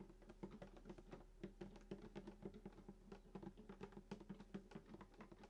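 Fingertips and short nails tap quickly on the wooden top, below the bridge, of a hollow sunburst acoustic guitar lying flat. Dozens of short, dry taps come in an irregular patter, each with a brief hollow body resonance around 200 Hz.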